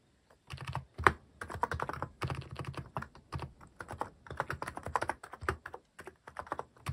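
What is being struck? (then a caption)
Mechanical keyboard with plastic keycaps. Fingertips type steadily on a cream plastic-cased mechanical keyboard fitted with cat-themed plastic keycaps, resting on a wooden desk. The keystrokes come in quick, uneven bursts of short, dry clacks with a soft low thock beneath them and almost no ring, and one stroke near the start lands noticeably harder.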